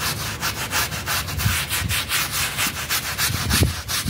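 A stiff plastic bristle brush scrubs a wet, soapy, dirty blue synthetic pile mat in quick back-and-forth strokes. Each stroke gives a bright, hissing swish with a soft low thud underneath, and the strokes run together into a steady, rhythmic scrubbing.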